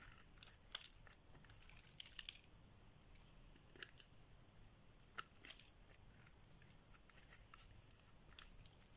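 A solid pink bar of dry soap is held in the hand and scraped with a metal blade, breaking off flakes. The quiet, bright, scratchy scrapes come in short bursts with crisp crunching and tearing-like crackles, and there is little low end beneath them.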